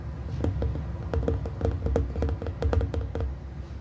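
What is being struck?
Glass plasma ball.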